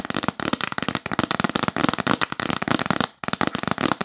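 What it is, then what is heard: Cardboard box lid. Long acrylic nails tap fast and aggressively on the lid of a yellow printed L'Occitane cardboard gift box with a tree illustration, held upright, hollow and rigid. The dense, rapid taps are sharp, dry clicks with a hollow body and bright edges, with a brief pause near the end before the flurry resumes.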